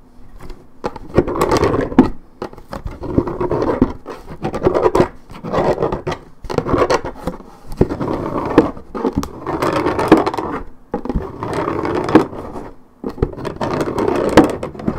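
Long nails on both hands scratch the top of a hollow Minute Maid orange juice carton made of coated paperboard. The result is dense, dry scratching in repeated bursts separated by brief pauses, with a papery, midrange tone and a slight hollow resonance.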